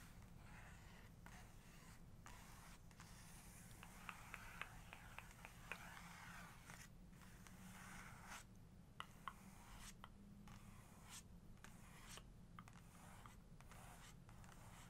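Long nails trace and tap over the face on a large glossy black-and-white portrait page in an open photography book. Soft, bright scratching strokes run across the paper, broken by a few sharp, dry taps. A steady low hum sits underneath throughout.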